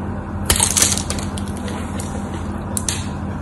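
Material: Soap.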